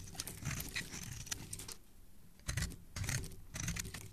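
A palm-sized, speckled solid green soap bar, held in the fingers of a hand with dark painted nails, is shaved and scraped with a metal blade, and the curls fall onto a wooden surface. The blade makes soft, crackly scraping strokes in uneven bursts, each with a low, dull body and a bright, crisp edge. Quieter pauses fall between the passes.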